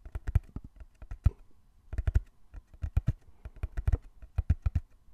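Fingertips tap rapidly on the sides of a small, closed, hollow brown cardboard box held in both hands. Irregular bursts of quick, dull taps sound deep and thuddy, and each one stops almost instantly with no ring.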